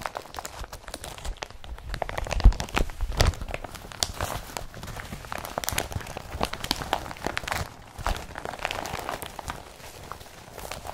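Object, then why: Woven polypropylene bag. An empty blue woven polypropylene IKEA BRATTBY carrier bag is handled as fingers scratch, pinch and crinkle its plastic surface. Dense, rapid crackling and rustling fill the clip, with sharp crisp transients and a few louder crunches, continuing steadily throughout.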